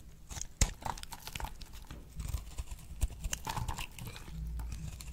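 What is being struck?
Bar of soap.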